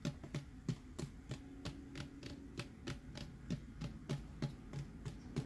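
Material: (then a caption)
Plastic. Fingernails tap and scratch the printed side of a hollow plastic tumbler with a Mickey and friends design and a red lid, held in hand. About 19 short, dry, hollow taps land at an uneven pace, each with a low body thump and a brief bright click that dies away almost instantly. A faint low hum runs underneath.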